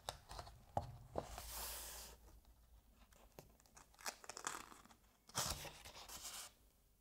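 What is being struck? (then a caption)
Thin paper pages of a hardcover book. Fingers rub and turn the thin, uncoated paper pages of a hardcover novel held open. Soft, dry rustling alternates with sharp papery flicks and two longer, bright swishes as pages sweep over, then the sound fades to a quiet rub.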